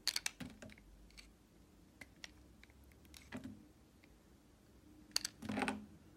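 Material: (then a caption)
Soap. A solid bar of smooth white vegan soap is held in one hand and carved with a red utility box-cutter blade, shaving off thin curled slivers. Crisp, bright scraping and clicking cuts come in short bursts with quiet pauses between them, and a longer, louder shave near the end.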